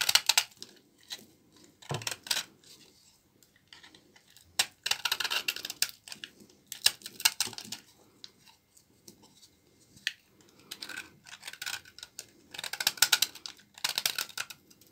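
A blade cuts and scrapes shavings off a small, solid piece of dry, old brown laundry soap held in the fingers. Bursts of bright, crisp crackling and scratching come in uneven clusters, with almost no low end and quick, dry decays between strokes.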